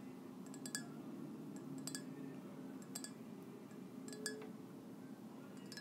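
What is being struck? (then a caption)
Ceramic mug. A hollow white ceramic mug with gold polka dots is held in one hand and tapped with long nails. The result is light, bright clinks with short ringing tails over a low, steady background hum.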